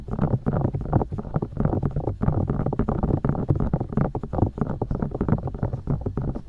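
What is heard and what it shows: Long dark-painted nails poke and tap into and around both soft silicone ears of a 3Dio-style binaural microphone, mounted on white plastic discs with hollow ear canals. The result is a rapid, continuous stream of muffled, deep thumps and rumbling pokes, mostly low in pitch with almost no bright content.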